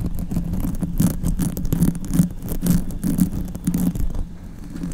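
Both hands scratch and rub a black open-cell foam windscreen, soft and hollow around the grille of a silver condenser microphone, with long white acrylic nails. A dense, muffled scraping texture is heard, heavy in the low end with a steady low tone, broken by quick bright scratchy streaks. The rubbing stays continuous and eases slightly near the end.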